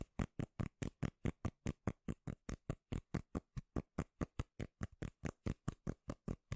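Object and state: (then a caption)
Cork lid. Long nails tap and scratch quickly on a round, solid, palm-sized cork lid held at the microphone. About 31 short, dull, bass-heavy taps follow one another at a steady, rapid pace, each dying away almost instantly.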